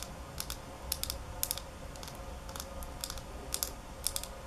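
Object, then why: Small glass bottle tapped with fingernails. Long nails rapidly tap a small square glass nail polish bottle filled with holographic polish, held in both hands. Short bursts of sharp, bright clicks arrive in quick pairs and triplets with almost no ring, over a steady low hum and faint hiss.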